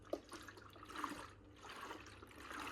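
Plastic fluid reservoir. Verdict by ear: Full.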